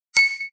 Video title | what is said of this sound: Como usar un analizador de espectro de audio (probado en Linux), y ver notas musicales. | impulso ou estímulo que eu dou ao vidro é um golpe, esse som é basicamente vibração